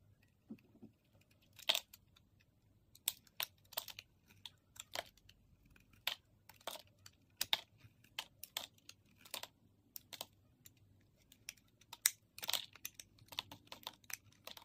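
A utility-knife blade shaves and scrapes small curls off the end of a solid, opaque sage-green soap bar held in one hand, letting them fall onto a grey surface. About thirty short, crisp, bright scraping strokes come in irregular bursts over a very quiet background. Each stroke stops dry, with almost no low end and no ring.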